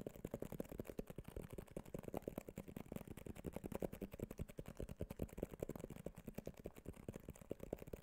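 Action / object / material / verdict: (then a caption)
tap / small cardboard box / cardboard / none. A small white cardboard iPhone box with a glossy printed front is held close to the microphone and tapped with fingertips and nails. The result is a quiet, rapid, steady stream of short, dry taps with a hollow low-mid body and almost no ring or brightness.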